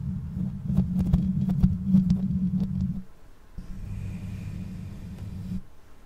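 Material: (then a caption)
Metal mesh. Long nails of both hands scratch and stroke the bare perforated metal mesh grille on the hollow head of a black condenser microphone. Close-up, the scratching comes through as a dense, low, rumbling hum with sharp clicks scattered through it for about three seconds. After a brief quiet gap, softer stroking returns as a steadier low rumble with a faint high hiss before fading out.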